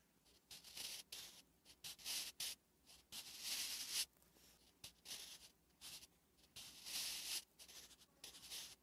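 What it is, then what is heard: Pencil writing on a paper page. A wooden graphite pencil writes Korean letters on a flat, solid lined paper notebook page, producing bright, dry scratching strokes. Short bursts of scratching come in irregular, quick succession with brief pauses between them.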